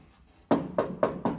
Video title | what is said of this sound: Sound Deadening a Classic Car | we don't have quite the hollow tinny sound. And you can hear the trim on the car too is loose